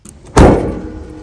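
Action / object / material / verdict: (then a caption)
strike / steel car door / steel / hollow. A steel front car door, with broken foam dampers inside, is slammed shut. It lands as one heavy, low thud, then a hollow, tinny ring like sheet metal that lingers and fades slowly. The result is a hollow, abnormal slam before the fix.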